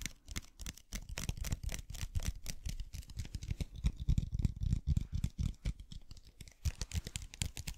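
A clear plastic bottle full of blue water beads is tapped and scratched with the nails and tilted in the hands. Rapid, uneven taps land as soft, low thuds with brief crisp scratches on top. The dull, dry clicking runs steadily throughout with no ring.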